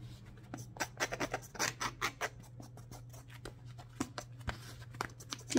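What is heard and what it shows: A hollow, empty grey felt slipper with a fur-lined collar and a dark textured rubber sole is held close while its sole is scratched and rubbed with leather-gloved fingers and a wooden stick. It makes a rapid run of short, dry, bright scratching and tapping bursts over a steady low hum, each dying away almost at once.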